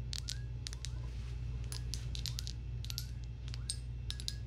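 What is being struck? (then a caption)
Small glass jar tapped with fingernails. A small, clear glass jar that looks empty and hollow is held in the hands close to the mic and tapped and scratched with long acrylic nails. Quick, bright clicks and ticks with short scraping sweeps come in irregular bursts over a steady low hum.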